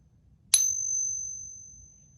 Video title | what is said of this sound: Fake Eagles from eBay - user caught, reported, and was fully refunded | So that's some kind of like brass material. So that is the fake one.